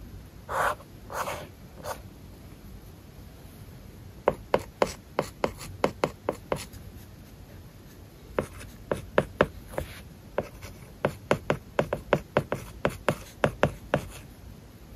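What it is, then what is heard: Stylus writing on a matte paper-like screen film. A stylus writes large kanji on an iPad screen covered with a matte plastic paper-like film. Three longer, soft scratching strokes come first, followed after a short pause by bursts of short, crisp taps and scratches with a brief lull in the middle. The sound is dry and close, with each stroke stopping almost instantly.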